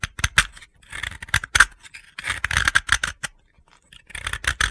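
A utility blade shaves gritty flakes off the edge of a round, pale blue, solid dry soap disc held in the hand. It makes a series of short, dry, crunchy scraping strokes, bright and gritty with little low end. They come in clustered bursts separated by brief silences, and each stroke stops dead with no ring.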